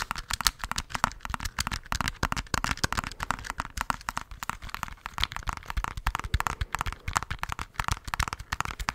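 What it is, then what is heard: Plastic calculator tapped. Fingertips rapidly tap the keys and body of a handheld black plastic scientific calculator. The result is a dense, continuous stream of short, dry plastic clicks and taps, each with a soft low thump and a bright edge and almost no ring.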